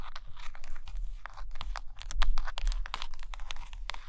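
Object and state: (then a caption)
Stack of hardcover books. Long patterned nails tap and scratch along the top cover edges and spines of a stack of hardcover Russian books made of solid paper and cardboard. A quick, irregular run of crisp, dry taps and bright, crinkly scratches rises and falls under a steady low hum. The short clicks die away almost at once.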